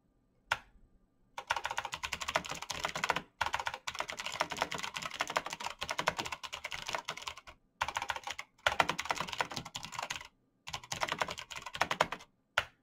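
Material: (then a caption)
Plastic. Gloved fingertips type rapidly on the plastic keycaps of a black plastic backlit mechanical keyboard with clicky switches. Dense bursts of bright, dry clicks run in long stretches broken by brief pauses, with a single isolated tap near the start and another at the very end.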